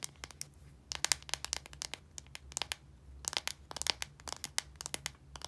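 Long nails scratch and tap the casing of a small plastic deodorant stick with a blue body and a translucent cap, filled with solid deodorant. The result is a rapid, irregular run of sharp, bright clicks and crinkly scratches that stop almost instantly. A faint, steady low hum sits underneath.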